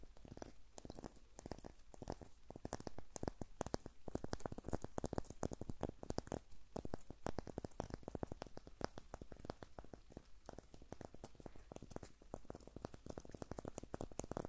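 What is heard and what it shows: A small, solid birch log with white papery bark is held in the hand while fingernails scratch and tap the bark. Quiet, rapid, dense clicks and papery scratches run continuously, weighted toward the low end with a faint tone near 590 Hz. Each tap dies away almost instantly.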